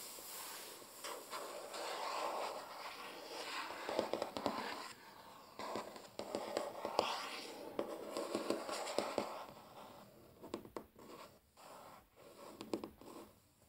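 Short nails and fingertips scratch and tap across a large, flat, solid wooden tabletop, making quiet, dry scratching broken by sharp, irregular clicks. The sound sits mostly in the mid-range with almost no low end, and each tap dies away almost at once with very little ring.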